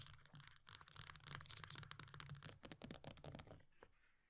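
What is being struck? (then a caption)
Plastic cosmetic tub. Long nails rapidly tap and scratch the pale green plastic base and edge of an upside-down body butter tub with a paper label. The result is a dense, bright run of clicky taps and rough scratches. It stops abruptly after about three and a half seconds, leaving one last faint tap.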